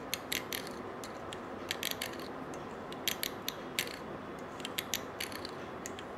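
A stiff-bristled brush scrubs the coils of a small gold-colored coiled wire bangle held in one hand. A steady, hissing scrub runs throughout, broken by many sharp, bright metallic clicks and ticks that rattle irregularly, like a ratchet.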